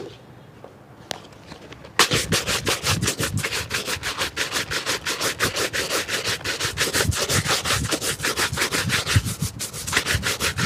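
A hollow, empty black leather shoe is held in one hand and brushed hard with a wooden-backed shoe brush. After about two seconds of near silence with a faint tick, rapid back-and-forth bristle strokes begin at almost three per second. The strokes are bright and scratchy, with a soft low thump underneath, and they continue steadily to the end.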